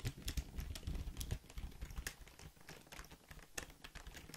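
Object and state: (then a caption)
Plastic computer keyboard being typed on. A full-size black Logitech plastic keyboard, hollow and held near the mic, is typed on quickly with fingertips. Rapid, uneven clacking keystrokes each land as a short, dry hit with a deep hollow thump and bright clicky tops, louder at the start and easing slightly after.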